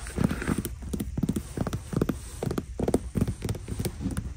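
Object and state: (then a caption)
Faux leather quilted boot. Long nails scratch and tap a black quilted faux leather boot sitting in its shoebox, moving between the quilted upper and the smooth shaft. The result is a steady run of quick, dull, low taps with a clip-clop feel. Each tap dies away almost instantly, with soft scratching in between.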